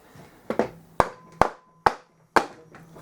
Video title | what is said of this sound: F650GS BMW motorcycle bottom end stripdown | That sounds hollow, so I think we may be clear.